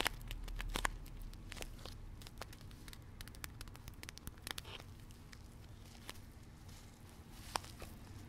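A full, hand-sized stand-up plastic pouch of cassonade brown sugar, with a paper-look window and a spout cap, is held close and squeezed, tapped and scratched with long red-painted nails. The result is crinkly, crunchy crackling with many short, sharp ticks scattered irregularly over a low rumble, loudest near the start.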